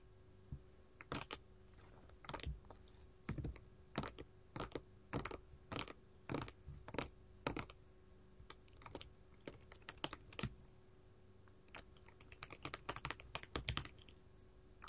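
A flat sheet of small colored glass mosaic tiles resting on a table is tapped by long gold metal filigree finger claws on both hands. The result is a quiet, uneven run of sharp, bright clicks and clattering taps. Some taps come singly and others arrive in quick flurries, each ending almost at once, over a faint steady hum.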